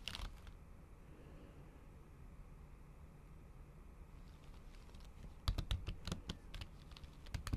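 Long acrylic nail tips tap repeatedly on a MacBook keyboard, its solid keys covered by a thin pink patterned plastic/silicone cover. A brief flurry of bright, dry clicks opens the clip, followed by several seconds of faint low hum. A quicker run of sharp, short taps then fills the last two seconds.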